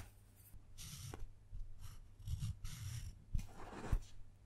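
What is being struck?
Dark chocolate slab carved with a metal tool.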